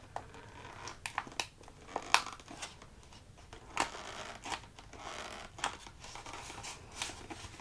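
A small, hollow, rectangular cardboard tea box with a window, holding tea bags, is tapped and drummed by fingertips and short nails. About fourteen quiet, dry, papery taps come in uneven bursts, each bright and clicky with a faint crinkle and almost no ring or low end.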